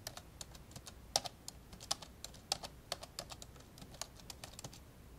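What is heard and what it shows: Fingertips of both hands type on the keyboard of an old black plastic laptop with a hollow body, and the right hand briefly presses near the touchpad buttons. Quick, irregular, bright plastic clicks and taps with very short decay come in an uneven stream, with a few louder keystrokes standing out.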